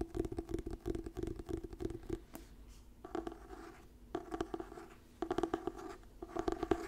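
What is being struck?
Paperback book with glossy paper cover.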